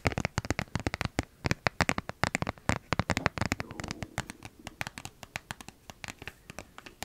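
Long nails scratch and crinkle a flattened, empty plastic toothpaste tube with a white cap. Sharp, dry clicks and scratches come in a fast, uneven run. Around the middle, a softer, steady crinkling rustle rises beneath them before the crisp scratches take over again.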